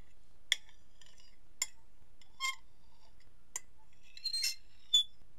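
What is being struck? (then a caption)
Ceramic dinner plate and metal fork. A metal fork is scratched and scraped across a medium, solid, empty white ceramic dinner plate held tilted on a lap. Short, bright clinks and scrapes ring out at around 3.4 kHz against near silence. A few longer scraping smears come near the end.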